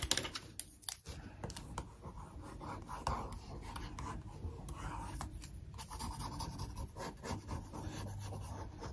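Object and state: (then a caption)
Glossy paper magazine. Long nails and a wooden stick trace over a handbag picture on one page of an open glossy paper magazine lying flat on a wooden table. The result is a steady, soft scratching and rubbing with light papery ticks and taps scattered throughout, over a faint low rumble.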